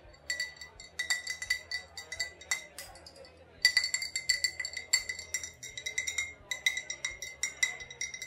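An old glass bottle with a faded sticker, said to hold vodka or rubbing alcohol, is tapped and clinked in a long run of quick, light taps. Each tap gives a short, bright glassy ping centered near 2 kHz with high overtones that die away almost at once. The tapping is softer at first and grows louder and denser after about 3.6 seconds.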